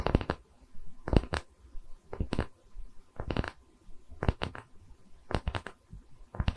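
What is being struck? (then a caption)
Wooden tree slice coaster. Long red nails scratch across the cut face of a round, solid wooden tree-slice coaster held in both hands. Quick, dry scratching strokes come in short clusters separated by brief pauses, each stroke a sharp rasp that stops almost at once, over a soft low rumble.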